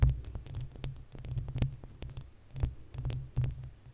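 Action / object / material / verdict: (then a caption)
scrape / metal mesh microphone grille / metal mesh / none. Long acrylic nails of both hands scratch the uncovered, hollow metal mesh grille of a desktop condenser microphone. The result is a steady stream of deep, throbbing rumbles and thumps around 62 Hz, dotted with faint bright ticks. The scraping swells and fades in uneven waves.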